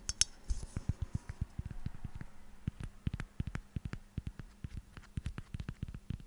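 Long fingernails tap and scratch a hand-sized, hollow White Dove aluminium aerosol deodorant can with a plastic cap. A quick run of dull, hollow taps with soft low thumps comes through, with a bright metallic clink near the start and light scratching between taps. A faint steady hum sits underneath.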